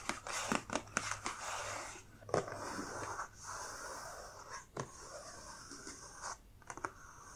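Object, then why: Closed cardboard box. Long dark nails scratch and tap the lid and sides of a closed, medium-sized black printed cardboard subscription box. Sharp, dry taps stand out over a steady, soft scratching hiss across the whole clip.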